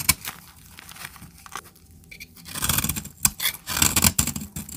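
A blade scrapes shavings off the end of a solid brown bar of dry soap held in the hand. Crisp, bright scraping strokes come in sharp bursts, with a quieter stretch before the scraping grows denser and louder toward the end.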